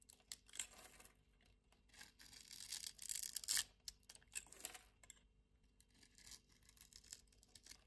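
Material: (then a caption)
Soap. A metal utility-knife blade scores a small, solid, pink rectangular soap bar held in the palm in a grid and scrapes it into cubes. The sound is quiet, bright, crisp scraping and crackling in short bursts, swelling into a denser, louder scrape around the middle before thinning to light ticks and scratches.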